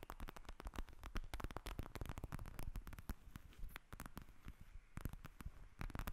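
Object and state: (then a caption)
Plastic gel bead eye mask. Long nails tap and scratch a pink plastic gel bead eye mask lying on a table. A dense run of quick, dry clicks with a soft low thump beneath, mixed with scratchy rustling; each tap dies away almost at once.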